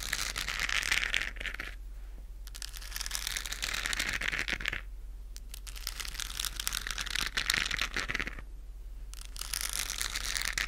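A hand-sized, hollow, lit galaxy moon lamp with a textured plastic shell is held in both hands in front of a fluffy microphone and scratched and tapped with long acrylic nails. Dense, bright, crackly scratching comes in long bursts, broken by short quieter pauses, with quick taps throughout and a faint steady low hum underneath.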